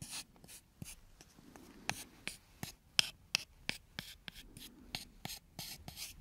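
A thin, solid, brownish wooden strip held in one hand is scratched along its length with the fingernails. Quiet, dry, bright scratching strokes are punctuated by about ten sharp, short ticks that stop instantly with no ring.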